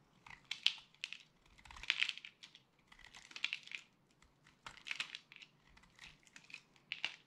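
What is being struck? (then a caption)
Soap bar. A metal utility blade scrapes and cuts into the surface of a solid, dry yellow-and-purple soap bar. Short, crunchy carving bursts come one after another, bright and dry with almost no ring and no low end.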